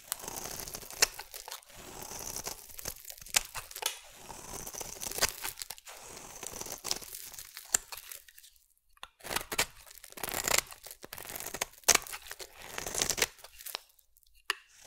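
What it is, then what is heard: Bar soap being shaved. A metal utility blade shaves long flakes from a solid purple bar of soap, making bright, crisp scraping and tearing sounds with a crinkly crunch. The strokes come in quick bursts with little low end, broken by short quiet pauses.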